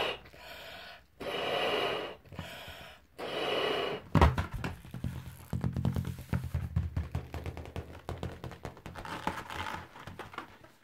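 A large, hollow, air-filled yellow latex balloon resting over a grey carpet is blown on in four breathy, airy gusts. It is then tapped and rubbed with the fingertips and pink-painted nails of one hand, giving a long run of dull, low, hollow thumps with squeaky rubbing between them.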